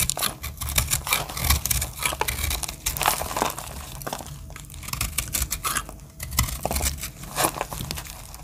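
A small metal blade scrapes and cuts the edge of a solid, heart-shaped dry soap with pink and purple terrazzo-style chips, held in the hand, and the soap crumbles into flakes. Dense, dry, crisp crunching and scraping strokes come in rapid bursts with bright crackle over a low rumble, each dying away almost instantly.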